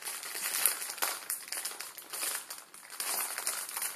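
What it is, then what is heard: Plastic ramen noodle packet. A full plastic-film ramen noodle packet is squeezed and folded in the fingers, crinkling the film. The result is a steady, dense crackle of bright, high rustling with small surges in loudness and no low end.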